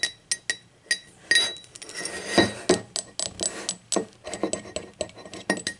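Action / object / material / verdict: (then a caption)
tap / ceramic mug tapped with fingernails / ceramic / none. Long acrylic nails tap the side wall and the unglazed base of an empty, hollow, speckled teal ceramic mug lying on its side. The result is a quick, irregular series of bright clicks and clinks, some landing singly and others in fast flurries, each with a short, hollow ring that fades almost at once.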